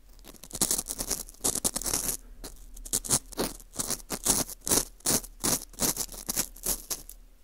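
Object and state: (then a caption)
Dry wheat gluten ring scraped. A green plastic screw earpick scratches inside the hole of a small, hollow ring of dry, porous baked wheat gluten (fu) held in a gloved hand. The clip is a run of uneven, bright, crisp scraping strokes, about two or three per second, with short pauses between them.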